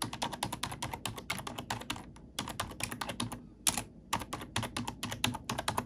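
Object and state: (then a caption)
Plastic computer keyboard being typed on. Black plastic keycaps on a computer keyboard are pressed and tapped with an index fingertip and long nail. The result is a quick run of short, bright clicks with brief pauses between bursts.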